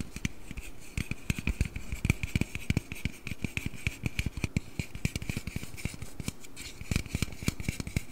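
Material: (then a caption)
Aluminium. A slim, hollow aluminum Red Bull can, held upright and then tilted beside a microphone, is scratched and tapped with fingernails along its body and bottom. Rapid, dry taps with dull low thuds and almost no ring mix with scratchy, bright friction and a faint steady tone around 2.5 kHz.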